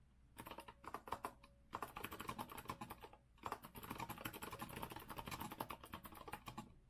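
Fast, continuous typing with the fingertips of both hands on a compact retro Azio mechanical keyboard with a rose-gold metal frame, round typewriter-style plastic keycaps and a white base, resting on a wooden desk. Dense, crisp clicky keystrokes come in quick bursts, with two brief pauses.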